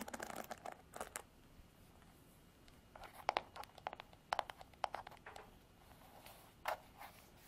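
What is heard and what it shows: Long nails scratch across the pin bristles and plastic frame of a Revlon paddle hairbrush, making crisp, bright scratching and clicking bursts. The bursts are separated by quiet pauses, and each click stops almost instantly.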